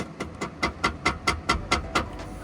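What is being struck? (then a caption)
Metal MOLLE console panel. Knuckle knocks on a powder-coated metal MOLLE panel mounted on the center console of a Rivian R1T/R1S. Nine short, evenly spaced knocks each give a bright, quick metallic tap with a ring near 1.4 kHz. The sound confirms the panel is rugged metal and held firmly in place.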